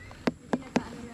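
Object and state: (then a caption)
Mature but not yet ripe jackfruit. A finger flicks a jackfruit three times, each one a short, dull, hollow thud with a low pitch that dies away almost at once. The sound marks the fruit as mature but not yet ripe, a tone that differs from a ripe one.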